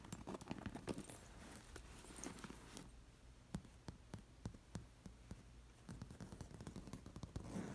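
Long nails scratch and flick the metal sequin discs sewn onto an embroidered fabric cushion resting at the edge of a leather couch. A quiet, dense scratching rustle fills the first few seconds, then gives way to sparse, sharp clicks and ticks as individual sequins are flicked, before the scratching returns at the end.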